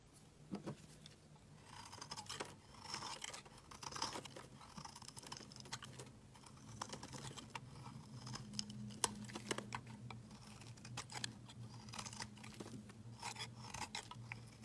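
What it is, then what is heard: Bar soap being shaved with a knife. A utility knife blade scrapes curled shavings off a solid, palm-sized pink Fa bar soap held in the hand. The result is a quiet, continuous run of crisp, bright scraping strokes with short sharp clicks, over a steady low hum.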